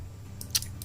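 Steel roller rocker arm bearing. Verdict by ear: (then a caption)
Loose. A roller-type motorcycle rocker arm, washed in petrol, is tapped to check its steel roller bearing, giving three short, bright metallic clicks over a steady low hum. The bearing sounds somewhat loose and rattles because the petrol left it without oil; it should be oiled with engine oil and tapped again, and if it still makes noise the bearing is damaged and must be replaced.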